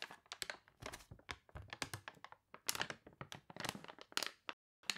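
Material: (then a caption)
Paper. Long nails scratch and fingertips press and crinkle the glossy, wavy, water-wrinkled pages of an open paper catalog lying on a table. Dense bursts of crisp, bright crackling and crunching come in quick succession, each snapping off almost instantly, with a brief silence just before the end.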